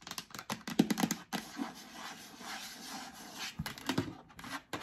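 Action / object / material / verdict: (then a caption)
scrape / plastic storage bin / plastic / none. Long acrylic nails scratch the stickered lid of a yellow hollow plastic storage bin, making quick, bright, clicky scratches. A steadier rasping scrape follows as the bin is tilted and held up, then a few more sharp scratches close the clip.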